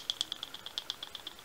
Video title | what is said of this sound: Thrunite Ti4T VS Nitecore MT06: Penlight Showdown | the batteries do rattle a little bit inside the light. So even as I tap this one, you can hear it.